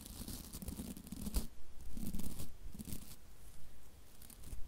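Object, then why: Plastic-bristle scrub brush. Long nails flick and scratch the stiff white plastic bristles of a hand-sized scrub brush with a block handle, held close to the mic. The result is a run of dry, crackly, tearing scrapes with soft low thumps underneath, and the strokes come in uneven bursts.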